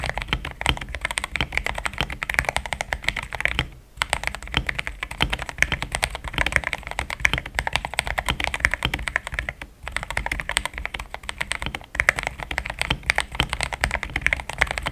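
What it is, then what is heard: Mechanical keyboard with plastic keycaps. Fingertips type fast on a compact, pink-cased mechanical keyboard fitted with thick cream XDA plastic keycaps, giving a solid sound. A dense, steady stream of short, crisp clacks rings bright around 2 kHz with a soft low thock beneath. Brief pauses fall near 4 and 10 seconds.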